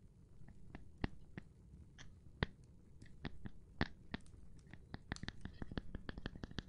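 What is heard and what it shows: A gloved hand taps on a cork board, making short, dry, dull taps at an irregular pace that grow quicker and denser toward the end. Each tap has a soft low thud with a brief bright click, fades almost instantly, and sits over a quiet, steady background hiss.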